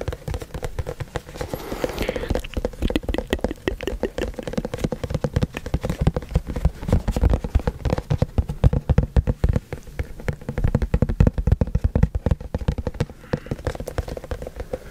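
A hollow white cardboard product box, held in both hands close to the microphone, is tapped rapidly with fingertips and nails. The result is a dense, continuous patter of short, dry, hollow thumps with a low, boomy body and little brightness.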